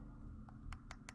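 Short, sharp taps on the dried-out, hard center of a waxed cheese wheel that has been cut open around the rim. A few brief, dry clicks rise over a steady low hum, each dying away almost at once. The center is hard rather than soft.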